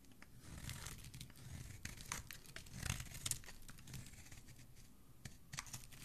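A metal blade with a black handle cuts crisp shavings off the end of a white solid bar of soap held in the hand. It makes quiet, dry crackling and scraping strokes with short bright bursts over a soft low rumble, each cut stopping abruptly with no ring.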